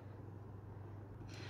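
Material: Nothing is struck.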